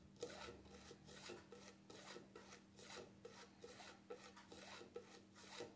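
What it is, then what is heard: Plastic jar lid scratched. Fingertips and nails scratch and rub the black plastic lid of a small cream jar, making a series of dry, rasping strokes with a bright, hissy top and short clicks where the nails catch. The strokes come at an uneven pace, about one per second, with a brief lull when the hand lifts off the jar partway through, over a steady low hum around 200 Hz.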